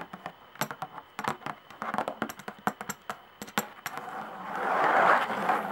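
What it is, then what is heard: Skin-head tambourine tapped and scratched. Long nails tap a hand tambourine's hide head, stretched on a hollow wooden frame with metal jingles and tacks, in a quick, irregular run of crisp, dry clicks with faint bright jingle edges. For the last two seconds the nails scratch across the skin, a continuous rough, mid-pitched rasp that swells louder before easing slightly.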